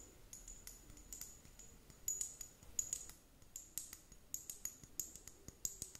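Long nails tap on a purple plastic liquid glitter hourglass timer, its two bulbs partly filled with liquid, held close. A quiet, irregular series of sharp, dry clicks rings high and bright, each tap dying away almost instantly, with little low end.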